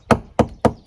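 A hard metal chisel taps three times on a wooden cabin wall log that is not decayed, giving the sound of sound, healthy wood. Each tap is a sharp, solid knock with a low body and a very short ring.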